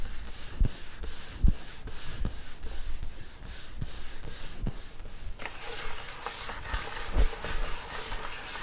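Fingers rub and scratch across the top of a flat wood-grain school desk, a large solid panel, making rhythmic brushing strokes with a bright, airy hiss. Soft low thumps mark some strokes. Partway through, the texture shifts to a denser, grittier scratching.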